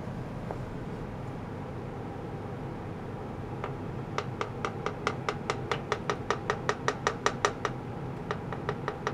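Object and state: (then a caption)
Stainless steel tray tapped with a mallet. A shallow oval stainless steel tray or lid about 30 cm long, hollow and empty, held by blue plastic clamps on a green mat with a cable running to it, is tapped repeatedly with a small wooden mallet on a long wooden handle. After a few seconds of quiet background hum and a lone early tick, about two dozen sharp, bright metallic taps ring out in a quick, fairly steady run. Each tap has a short, clipped ring around 410 Hz, and there is a brief pause before the final few.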